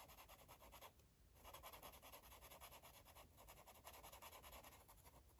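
A green marker rubs back and forth across a paper coloring book page in quick, repeated strokes. The scratchy, papery strokes are steady, with a brief pause near the one-second mark before the rubbing resumes.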